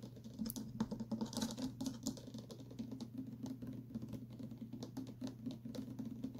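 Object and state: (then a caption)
Plastic water bottle tapped with fingertips. A tall clear plastic water bottle with printed text and an inner straw, partly filled with liquid, is tapped quickly and lightly with fingertips and short nails. The clicks are short and dry, over a steady low hum and a faint tone that holds throughout.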